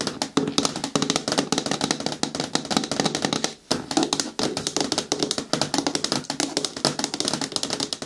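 Long nails tap quickly on the lid rim and side of a hollow, hard green plastic bin with a lid. The result is a dense stream of short, dry, clicky taps with a bright edge and a hollow body tone around 277 Hz, with a brief pause partway through.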